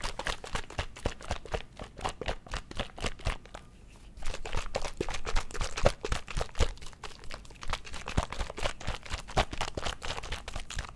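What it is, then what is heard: Small plastic drink bottle with liquid. A small squeezable plastic Mio drink-enhancer bottle with liquid inside is held in one hand and shaken close to the mic. It gives rapid, uneven sloshing with crisp plastic clicks and crinkles, about four per second. There is a brief lull near the 4-second mark before the shaking resumes louder.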